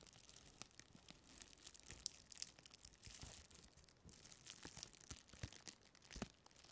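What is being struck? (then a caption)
Thin clear plastic packaging strip. A thin, textured, light and flexible clear plastic packaging strip is crinkled, bent and scratched with long painted fingernails close to the microphone. Quiet, bright crackles and sharp, dry ticks come in irregular bursts, with soft rustling between them and almost no ring after each snap.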